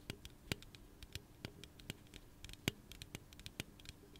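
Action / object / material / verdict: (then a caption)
tap / aluminum drink can tapped and scratched with fingernails / aluminum / none. Fingernails tap and scratch along the side of a hollow pink aluminum soda can held in the hand. Quiet, irregular dry clicks with short bright ticks die away almost instantly, with soft scratching between them.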